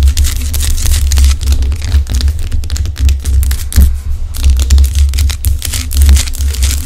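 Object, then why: Rock salt lamp tapped and scratched with nails. Long acrylic nails scratch and tap on a large, solid pink Himalayan rock salt lamp. Continuous bright, crackly scratching mixes with quick, short taps over a steady deep low hum that carries most of the sound's energy.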